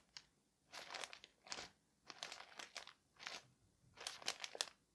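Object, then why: Parcel wrapped in thin paper. Fingertips and a palm rub and press the thin white paper wrapping of a flat parcel resting on a table, producing bright, crisp crinkling. The sound comes in short bursts of rustle separated by near-silent pauses, with the densest crackling near the end.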